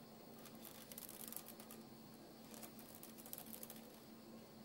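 Fingertips tap, rub and scratch over uncooked dry spaghetti strands spread flat on a white counter. The result is a quiet, dry crackle of bright, high clicks and scratchy rustles, with a faint low hum running underneath.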